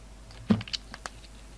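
A utility knife cuts and scrapes apart a solid red poppy carved from soap and held in the hands. Five short, dry crunches and scrapes come through, the first the loudest, with a low thud and bright crackle that stop almost at once.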